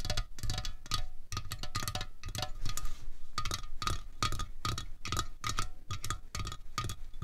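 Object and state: Aluminium drink can.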